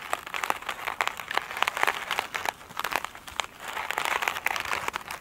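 Long nails scratch the glittery top of a foam sponge covered in glitter mesh, lying on a table. The result is a dense, crinkly scratching with many sharp, dry clicks and crackles in the mid and high range, with no low-end body.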